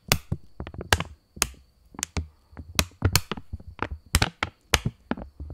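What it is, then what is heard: Polymer plastic banknote. A £20 polymer banknote is held in both hands while fingers flick, bend and snap the thin plastic film. Sharp, crisp snaps and bright crackles come in an irregular run with brief quiet gaps. Each snap has a soft low thump and dies away almost instantly.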